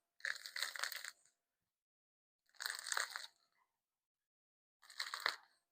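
Three bursts of dry, crisp crackling come from the crust of a cooled sourdough loaf baked in a Dutch oven as it is squeezed in a crunch test. The crust crackles sharply in bright, high-pitched crunches, a good sign of a crisp, well-baked crust.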